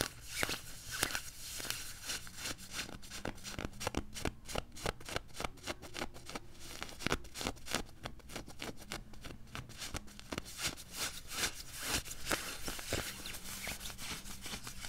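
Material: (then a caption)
Nylon. Fingertips and nails scratch and rub across the padded sleeves of a worn beige quilted nylon puffer jacket. Dense, rapid, crisp scratching strokes crackle brightly over a quiet, steady low hum, with short bursts that die away almost instantly.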